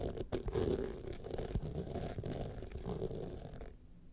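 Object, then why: Rhinestone-studded clutch wallet. Long nails scratch quickly back and forth across the studded face of a gold rhinestone clutch wallet. The result is a dense, continuous rasping rustle, full in the low and middle range, that cuts off abruptly just before the end.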